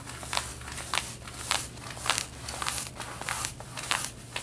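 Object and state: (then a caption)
Denim jeans fabric being scratched. Long red-painted nails scratch the back pocket area of worn light blue denim jeans, touching only the fabric. A steady run of dry, bright rasping strokes repeats at an uneven pace, each swelling briefly over a faint low hum.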